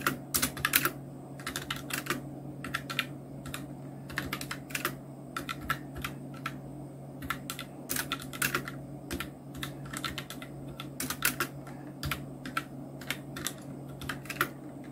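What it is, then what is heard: Plastic mechanical keyboard. A full-size black Nubwo Illution NK-70 mechanical keyboard with Outemu red switches, round plastic keycaps and blue backlight is typed on continuously with the fingertips of both hands. The result is a steady stream of short, bright plastic clicks and clacks in irregular bursts, with a low, constant hum underneath.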